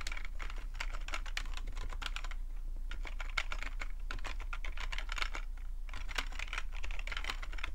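Fingertips type steadily on a full-size black plastic computer keyboard with a hollow plastic body, producing a dense, continuous stream of short, crisp key taps with bright clicky tops. A steady low hum sits underneath, and the pace slows briefly partway through before the typing resumes.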